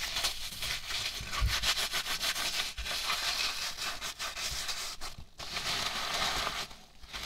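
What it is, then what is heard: Styrofoam packing peanuts being rubbed. Hands squeeze, rub and scratch a heap of light white polystyrene foam packing peanuts with fingertips and nails. The result is a dense, bright, squeaky rustling and crackling that runs almost continuously, with only brief dips in between.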